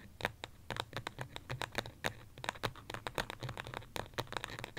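Long fingernails tap and scratch quickly on the side of a small white pot, probably ceramic, holding an artificial succulent. The result is a rapid run of short, dry clicks with bright, crisp tops and almost no ring, mixed with faint scratching between the taps.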